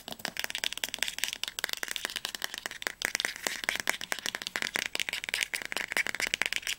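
Fingernails tap and scratch rapidly on the glossy spine of a teal hardcover novel, "Das Labyrinth erwacht," held with its spine tilted toward the camera. The sound is a fast, uneven stream of dry, bright clicks with no ringing, mixed with light scratching and almost no low end. The book sounds solid.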